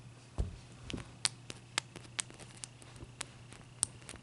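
Long dark-painted nails and fingertips tap a large, clear, solid block of ice resting on a white towel, then a knuckle knocks it. About ten short, bright clicks and taps come at irregular intervals, the first with a soft, low thump, and each dies away almost instantly over a faint, steady low hum.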